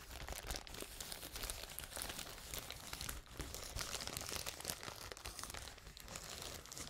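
A large sheet of clear plastic bubble wrap is held in front of the microphones and handled and scratched with fingers. It gives a dense, continuous crinkling and crackling rich in bright high tones, with a brief quieter moment near the middle.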